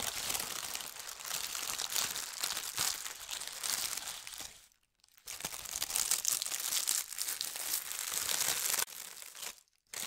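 Fingertips with long red nails press and smooth a thin holly-print tissue paper sheet on a table, making a dense, bright crinkling with almost no low end. The crinkling runs steadily, pauses briefly near the middle, then resumes before a short drop-off near the end.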